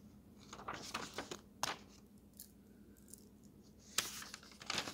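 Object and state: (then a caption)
Thin paper road atlas pages. Fingers turn the thin paper pages of an open road atlas, sliding each page between them. Bright, dry rustles and crisp flicks come in uneven bursts over a faint steady low hum, with two sharper page snaps standing out.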